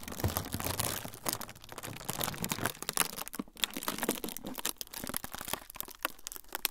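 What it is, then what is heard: Frosted plastic sheet. A thin, flexible, semi-translucent frosted plastic sheet is crinkled and folded between the fingertips of both hands. It makes a dense run of quick, dry crackles and crinkles, bright and broadband, with no ringing between the sharp snaps.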